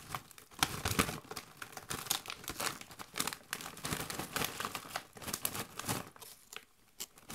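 A Doritos chip bag made of metallized plastic, partly full of chips, is shaken and crinkled by gloved hands. The result is dense, bright, crackling crinkles in rapid irregular bursts, with the chips rattling inside. The sound thins out and grows quieter toward the end.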